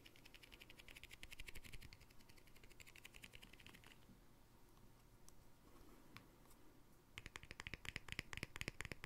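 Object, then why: Small glass jar with plastic lid. A small round glass jar with a green plastic lid is held and turned in the hands while fingertips and nails tap and scratch its surface and rim. Rapid, bright clicky taps and soft scratching run for about four seconds, ease into quieter handling, then return as a denser burst of sharp tapping at the end.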